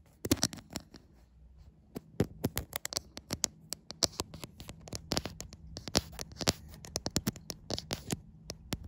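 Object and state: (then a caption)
Glass-backed smartphone tapped and scratched with nails. Long white acrylic nails tap and scratch the glass back of a white iPhone, seen in a mirror. Dozens of quick, sharp clicks and raspy scrapes sound in an uneven rhythm. Each one is bright and dies almost instantly over a faint low hum.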